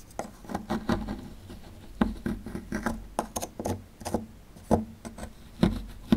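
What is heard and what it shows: A small metal chisel scrapes a small, solid plaster fossil excavation block near its exposed relief. The result is a quick series of short, dry scratches and ticks with almost no ring, centred low around 220 Hz with little high-end content.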